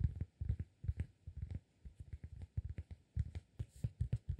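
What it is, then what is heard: Cork disk. A round, flat, solid cork disk about 15 cm across is held in both hands while fingertips tap and scratch its face. The result is a quick run of soft, dull, low thumps with almost no ring, mixed with faint scratching.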